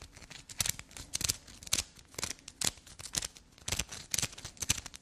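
A solid black soap bar with carved grooves is scratched and dug into with long black nails. Fast, soft, bright scratching and scraping bursts follow one another in an uneven rhythm, with sharper crisp peaks standing out among the quieter rasping.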